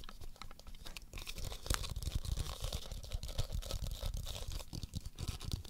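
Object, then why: Hollow plastic ball with a liquid-filled chamber. Fingertips and nails tap and scratch the surface of a hand-sized black plastic Magic 8 Ball with a white 8 label, a hollow shell with a liquid-filled answer chamber inside, held in both hands. A steady stream of quick, crisp taps and scratchy rubs is heard, with dull low thumps underneath and bright clicks on top. Each sound dies almost instantly.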